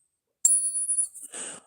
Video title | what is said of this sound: Assessing Capped Bust Halves, and talking about fake coins. | it rings quite well too. These are 89% silver, 11% copper. They have a nice ring to them.